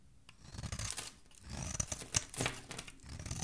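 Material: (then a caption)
Soap. A solid, hand-sized bar of soap, white outside with a pink core, is held in the hand and scraped and shaved with a metal knife blade. Soft, bright scratching and shaving strokes rise and fall in bursts as flakes and curls peel away from the bar.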